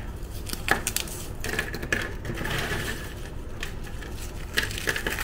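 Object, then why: Chocolate-chip cookie pieces. Pieces of dry Tiger Krunch chocolate-chip cookies are crushed and crumbled between fingers and thumbs into fine crumbs over a white surface. A steady, dense crackle of crunching runs throughout, punctuated by sharper, brighter snaps as larger pieces break apart.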